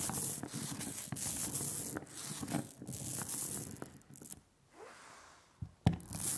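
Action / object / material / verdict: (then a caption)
scrape / printing ink rolled on a glass slab with a rubber brayer / printing ink / none. A rubber brayer is rolled by hand through a thin, even layer of sticky black printing ink on a glass slab, making a velvety, tacky hiss with a bright crackle and a low rumble. The rolling runs steadily for about four seconds, fades to near silence, and is broken by a brief sharp click before the rolling resumes.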